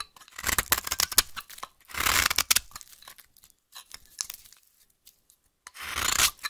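A solid, dry, orange vintage soap bar held in hand is scraped and rasped with a knife blade into fine crumbs. Bursts of bright, crisp scraping come in quick strokes, with longer rasping sweeps near the start and end and a quiet pause in between.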